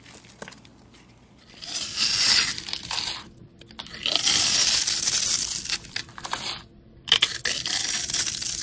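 A metal utility-knife blade scrapes and carves crumbly flakes from a solid rectangular bar of yellow soap held in the hand. Three long, bright, crackly scraping passes rise out of near silence, each a dense, gritty rasp made almost entirely of high frequencies.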